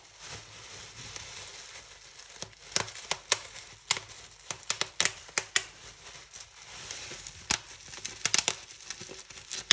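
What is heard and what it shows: Fingertips pinch a fold of a large clear plastic bubble wrap sheet and pop the bubbles one after another. A steady bright crinkling rustle runs throughout, broken by a series of sharp, bright pops that cut off almost instantly.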